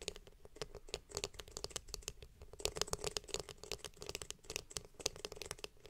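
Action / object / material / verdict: tap / plastic hairbrush back / plastic / none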